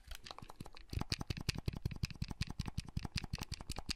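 Fingertips click the buttons and handle the hinge of a small, hollow, red plastic clamshell handheld console. After a softer first second, a rapid, slightly uneven stream of short, dry clicks follows, each with a low hollow knock and a bright plastic tick that stops instantly. The clicks run steadily through the rest of the clip.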